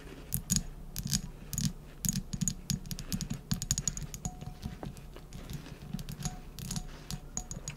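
Long nails tap and scratch the glass of a round glass jar filled with wrapped candies, held in both hands. A rapid, irregular run of light, sharp taps with a faint high glassy ping is heard over soft scratching, each tap dying out almost at once.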